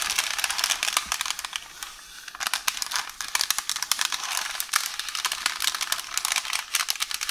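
Long orange nails tap, scratch and rub a hollow roll of beige baking paper resting on a counter. Dense, bright crinkling and rustling with many quick ticks fills the clip, easing briefly to a quieter, softer rub around two seconds before the busy tapping returns.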